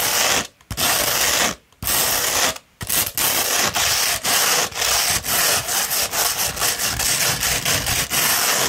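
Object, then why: Coarse sandpaper sheet rolled into a tube. A sheet of coarse 60-grit sandpaper, rolled into a hollow tube, is scratched quickly with long red nails. The result is a bright, dense gritty rasping, broken by a few short pauses early on and then by rapid, uneven strokes with brief dips between them.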